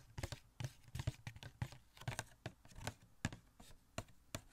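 Fingertips rapidly tap a small hollow cardboard Funko Pop box with a plastic window, holding a Catwoman figure inside, close to the mic. The taps land as quick, dry, hollow knocks with a low thump and a crisp papery click, dying away almost instantly. They come in an uneven, fast rhythm of about seventeen taps.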